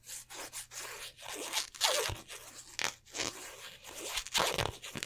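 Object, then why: Polyester basketball jersey. Fingertips and nails scratch and rub over a black polyester basketball jersey held up close, including its raised, stitched twill number patches. The result is a run of bright, dry, scratchy rustling strokes that swell and fade in short bursts, with little low end.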